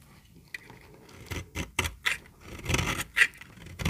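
A small, solid, peach-colored bar of very dry soap, held in the hand, is scraped and shaved with a metal utility-knife blade. Short, dry, irregular scraping strokes come with a bright, gritty rasp and brief crackles, each fading quickly.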